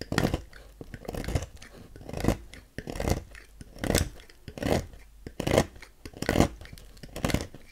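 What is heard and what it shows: A thin metal knife scrapes and carves a dry, solid, palm-sized pink bar of soap held by fingers on a white table, shaving thin flakes into a growing pile. About nine rough, scratchy strokes come in a steady rhythm, each a short dry rasp with bright grainy edges and a low thud-like body, separated by near-quiet pauses.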